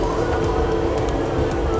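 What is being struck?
Nothing is struck.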